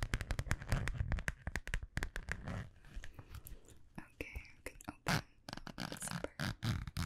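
A small, hollow holographic metallic vinyl zippered pouch is tapped and scratched with long nails and gently squeezed. Quick, dense taps fill the first two seconds, followed by softer crinkly scratching and a few sharp, bright bursts. Most of the energy sits in a low, thuddy range.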